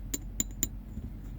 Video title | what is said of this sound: Dollar Mindsets (Part I) - Horaders vs. Spenders💸 | these things I think actually ping better than of American Silver Eagles